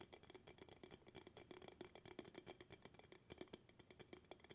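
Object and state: Glass jar tapped with fingertips and nails.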